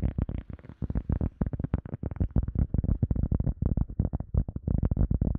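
A round, solid, soft teal EVA foam sponge disc is tapped and scratched with fingertips while held above and around a microphone. About two dozen quick, dull, muffled taps come in an uneven rhythm, each thud low and boomy with almost no high end, dying away almost instantly.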